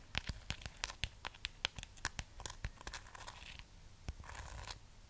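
Long fingernails scratch the textured wax surface of a solid, hand-sized red waxed amaryllis bulb. The result is a quick series of sharp, dry, bright scratching clicks that die away almost instantly. Softer, raspy rubbing stretches come in between the clicks.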